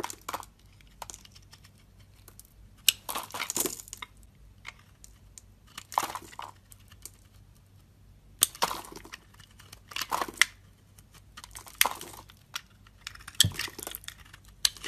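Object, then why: Solid soap bar shaved with a metal blade. A metal utility blade shaves curled slices off a palm-sized, solid oval light green soap bar held in the hand. Bursts of bright, crisp scraping and crinkly carving come in irregular strokes, each dying away at once, with quiet pauses between them.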